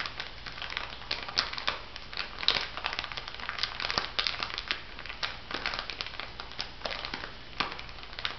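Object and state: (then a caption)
Plastic bag of bath salt granules. A small clear plastic bag full of white bath salt granules lies flat and is pressed and scratched with long nails and fingertips. It gives a steady run of bright, dry crunching and crinkling with many short sharp crackles and little low end.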